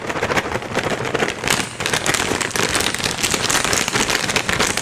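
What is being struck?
Flexible plastic pouch of dry cat treats.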